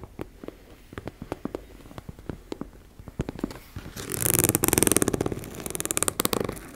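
Long red acrylic nails tap and scratch the surface of a medium teal embossed-fabric makeup bag, soft and likely empty, lying on a wooden table. Sharp, separate clicky taps come first, then build into louder, rapid, bright scratching across the textured fabric.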